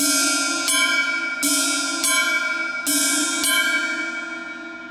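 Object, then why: Brass drum cymbal struck with a stick. An 18-inch Triplesix H-series brass cymbal on a stand is struck six times with a wooden drumstick. Each hit gives a bright metallic crash that rings with a steady tone around 1.6 kHz and overlaps the next stroke. The tone is clear, and the last hit is left to fade.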